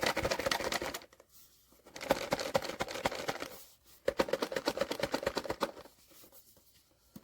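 A sealed cardboard POP MART Skullpanda "The Sound" blind box holding a vinyl figure is shaken in three bursts of quick, papery rattling, with the contents knocking against the box walls and short quiet pauses between shakes. The box turns out to contain the Pensiveness figure.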